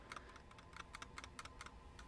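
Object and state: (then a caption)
Tight plastic mouse, little rattle. A Logitech M510 plastic wireless mouse is shaken to test its build quality, producing faint, quick clicking rattles over a low background hum. The rattle is very slight, showing the mouse is sturdy and tightly built.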